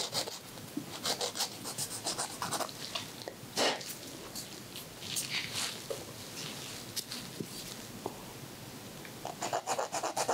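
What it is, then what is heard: Emery board filing fingernails. A white emery board files a man's fingernail as the hand holding his makes repeated rasping strokes. Short, dry, bright scratching bursts come in quick clusters, with a louder rasp near the middle and a fast run of strokes at the end, over a quiet hiss.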